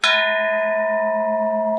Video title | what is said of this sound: BEHIND THE SCENES VLOG 05 -- RANNVIJAY SINGHA | You can literally hear It's the like a ringing. bell.